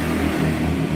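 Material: Nothing is struck.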